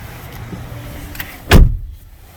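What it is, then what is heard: Solid-sounding car door. The driver's door of a Hyundai Santa Cruz pickup truck is closed, making a deep, low thud with a brief sharp edge, then a short fade into near silence. The close sounds solid, showing a well put together vehicle.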